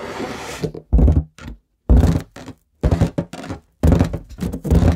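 An inflated, hollow, air-filled light blue latex balloon is held in front of a microphone and tapped and scratched with long nails and fingertips. Deep, hollow, resonant thumps and rubbery scratching come in uneven bursts separated by brief silences, with most of the sound sitting in the low range.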